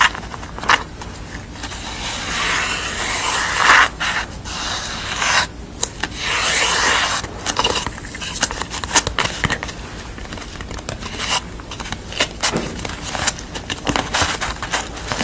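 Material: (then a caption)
Cardboard. Long nails and fingertips rub and scratch the rough painted surface of corrugated cardboard lying on a towel. Dry, crisp rubbing and scraping fills the clip with bright, hissy texture, broken by quick, sharp scratch strokes that fade almost at once.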